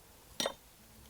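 Pieces of finished oak charcoal are knocked together at a charcoal kiln, giving a single bright, glassy clink with a short ring. The glass-like ring marks well-burned, properly made hard charcoal.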